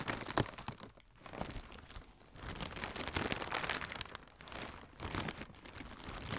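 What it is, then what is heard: Plastic air cushion packaging being crinkled. Fingertips with red nails squeeze and crinkle a hollow strip of blue plastic air cushion packaging. Dense, irregular crackles and crinkles with a bright, hissy edge swell and fade, with a brief quiet dip near the one-second mark before the crinkling builds again.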